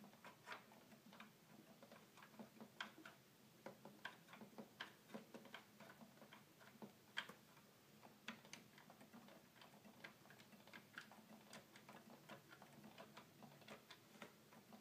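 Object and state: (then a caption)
Plastic toy keyboard buttons. A fingertip taps and clicks the small plastic buttons of a hollow red plastic toy keyboard. About 26 quiet, sharp, bright clicks sound at an irregular pace, each dying away almost at once over a faint steady low hum.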